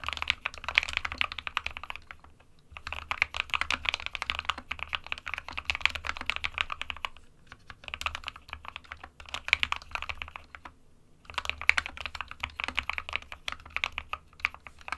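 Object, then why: Plastic mechanical keyboard. Both hands type with their fingertips on an SK61 small 60% mechanical keyboard, with a white plastic case and plastic keycaps, resting on a printed desk mat. Rapid, bright, clicky key taps come in dense bursts separated by brief pauses, each tap short and dry with almost no ring.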